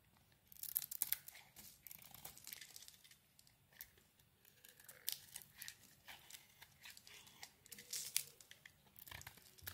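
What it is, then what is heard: Bar soap being carved. A metal blade cuts and scrapes shavings and chunks off a hand-sized, solid oval purple and green bar of soap held in the palm. Quick, dry, bright crackling scrapes and crisp tearing cuts come in uneven bursts, with the loudest strokes near the start and again toward the end.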